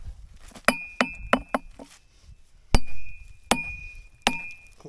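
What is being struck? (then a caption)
Steel hammer and chisel on limestone rock. A gloved person drives a metal chisel into a crack in a large, solid, weathered limestone rock outcrop outdoors by striking it with a hammer. Seven sharp metal-on-metal knocks are heard, each with a short bright ring near 2.5 kHz, over a low, dull thud into the stone.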